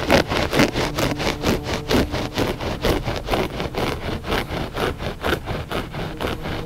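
Short fingernails scratch back and forth across a flat gray loop-pile textile rug, solid and soft. About a dozen rough, brushing strokes come in a steady rhythm, each a short burst of dry, scratchy noise across low to bright frequencies.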